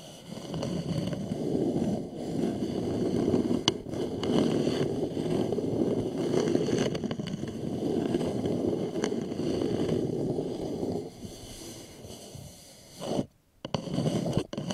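Fingernails of both hands scratch and tap near the rim and sides of an upside-down, hollow, polished wooden bowl. The result is a dense, continuous scratching with a warm, hollow low-mid resonance and occasional sharp taps. The sound softens for a stretch near the end, stops briefly, then resumes.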